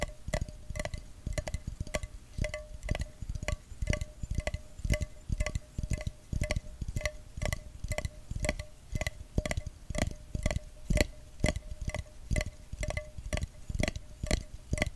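A small, empty, clear glass jar is held near the rim and tapped quickly on its body with fingertips and nails. It gives a steady stream of short, uneven clicking ticks, each carrying a faint glassy ring.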